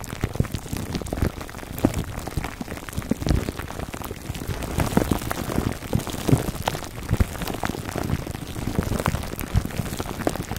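Fingertips scratch a foam microphone cover wrapped in clear plastic film, working the crinkly wrap on both sides. A steady, dense crackle of small pops and rustles, mostly low and thumping with little brightness, runs throughout with no pauses.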